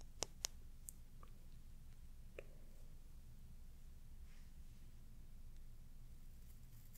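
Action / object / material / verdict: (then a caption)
flick / plastic hair dye brush with comb / plastic / none. A white-bristled plastic hair dye brush with a plastic comb handle has its bristles and comb teeth scratched and flicked by fingertips and nails. Four sharp, bright clicks stand out over a low, steady background hum. Faint scratchy rustles follow, fading into near-quiet.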